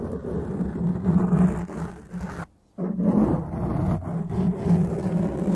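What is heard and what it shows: A black foam windscreen on a microphone is cupped and scratched with the long, dark-painted nails and fingertips of both hands. It makes a dense, muffled, low rumbling scrape with a steady low tone. The sound cuts to near silence for a moment partway through, then resumes just as thick.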